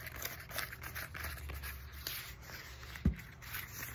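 Long fingernails tap and scratch the knobby surface of a black textured EVA foam roller with a hollow plastic core, about 33 cm long. A dense run of dry, scratchy rasps rides over a low, hollow rumble, and a single sharper, louder tap stands out near the end.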